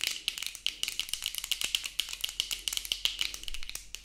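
Plastic-framed sunglasses worn on the face are tapped rapidly with long acrylic nails, producing a fast, bright clicking rattle. Each tap is short and dry, with a steady tone near 3 kHz over crisp high-end clatter and very little low end.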